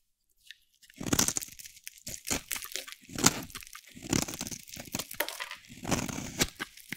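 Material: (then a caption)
Soap. A solid pink bar of dry soap is held in the hand and shaved with a metal utility blade. Repeated dry, crunchy scraping strokes come in bright bursts with short pauses between them, and each cut stops almost instantly with no ringing.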